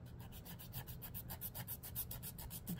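Fingernails are rubbed along the gritty surface of a long, dark emery board nail file held upright. The result is a rapid series of soft, dry rasping strokes, each a bright scratchy hiss over a low, steady rumble.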